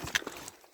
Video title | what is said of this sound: Aventure zone épisode 14 Perfect stage | Ça sonne bizarre, je trouve.